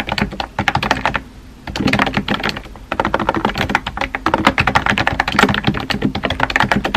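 Fingertips with dark-painted nails type rapidly on a compact pink plastic keyboard with round white keycaps. The result is a fast stream of short, crisp clacks and taps that die away almost instantly, with a brief quieter lull before the typing picks back up.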